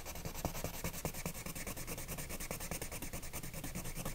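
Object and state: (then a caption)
Colored pencil scratching on a paper page. A hand with painted nails rubs and scratches a wooden colored pencil in short strokes across the flat paper page of an adult coloring book lying on a woven mat. The result is a soft, continuous scratchy rustle made of quick, slightly uneven strokes, each with a brief, dry texture.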